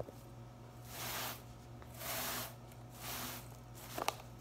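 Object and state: Plastic broom bristles being scratched.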